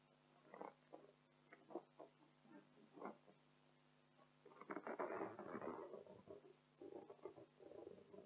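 Long acrylic nails on both hands tap and scratch an inflated, hollow, air-filled blue latex party balloon printed with "Joyeux Anniversaire." Separate soft, rubbery taps and short squeaky scrapes come first, then a longer, denser stretch of scratching in the middle, and a final run of quick scratches. The sound stays quiet and mid-pitched throughout.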